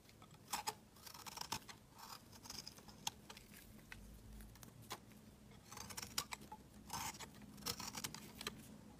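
A utility knife blade scrapes thin shavings from the edge of a solid, bright-green oval bar of soap held in the hand. The quiet, crisp scraping comes in short, bright, rasping bursts, clustered in bunches with softer gaps between them.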